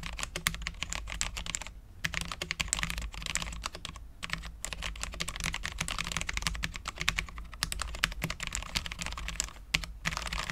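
Both hands type continuously with their fingertips on a full-size Cherry MX10.0 low-profile mechanical keyboard with Cherry LP switches, dark ABS keycaps and a steel plate. The result is a steady stream of quick, bright, clicky taps with a few brief pauses, over a constant low hum.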